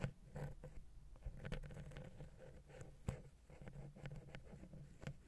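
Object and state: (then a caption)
Metal microphone capsule being tapped and scratched. A wooden ear pick taps and scratches the capsules of the silver metal X/Y microphone head on a Zoom H6. Quiet, close scraping and soft tapping rubs against a low, boomy undertone, with a few sharper knocks standing out. The low end dominates while the top end stays nearly silent.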